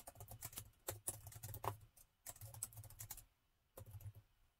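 Fingertips of both hands type on the plastic keys of a gold metal laptop keyboard, producing quick, light clicking taps with a bright edge over a low thump. The taps come in steady bursts separated by two short pauses.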